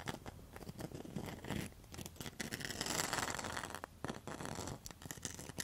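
Long metal nail tips scratch and tap across the mosaic face of a round rattan and mosaic coaster. Dense, gritty scraping mixes with quick, short clicks, building into a brighter, steadier rasp around the middle before breaking back into scattered taps and scratches.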